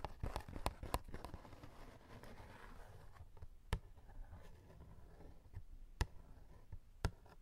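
Fingernails and fingertips scratch and tap the front of a small, printed cardboard snack box that appears full and is held close. A burst of quick dry taps and soft scratching comes first, then quieter scraping broken by a few sharp, isolated taps. The taps are short, with no ring after them.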